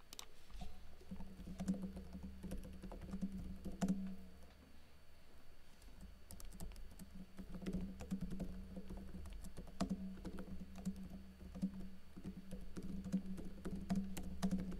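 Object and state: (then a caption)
Plastic laptop keyboard being typed on. Fingers with blue nails type steadily on a plastic backlit laptop keyboard with plastic keycaps, heard close up at key level. Quick, light clicks and taps patter along continuously, with a brief lull near the four-second mark, over a steady low hum.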